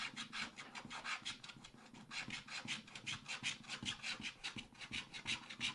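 A wooden stylus scratches the coating of a thin black coated scratch-art card in a spiral pad, using short rapid strokes in the background. The result is a quiet, steady run of bright, raspy scratching with very little low end, each stroke dying away almost instantly.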